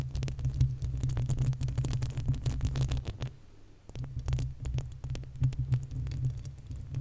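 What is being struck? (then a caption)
Metal mesh microphone grille. Long acrylic nails scratch and tap the uncovered, hollow metal mesh grille of a large desktop condenser microphone. The result is a dense stream of rapid, boomy scratches and taps over a low, throbbing hum, with almost all the energy in the deep bass. The sound briefly thins out and quiets just past the midpoint before the scratching resumes.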